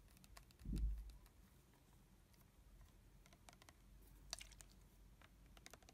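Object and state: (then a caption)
Plastic body mist bottle. Long fingernails tap and scratch the printed label of an uncapped red plastic body mist bottle with a metal sprayer, partly full of liquid. Quiet, dry clicks and light scratching patter along, with a soft low thump near the start.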